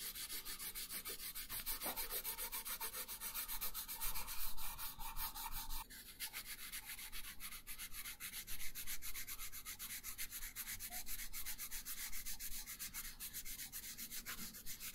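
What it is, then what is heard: Pencil coloring on paper. A pink wooden colored pencil shades a thin paper coloring page resting on a wooden table. Steady, rapid rubbing strokes make a dry, scratchy hiss with bright, papery texture, and the rhythm shifts to quicker, more even strokes about six seconds in.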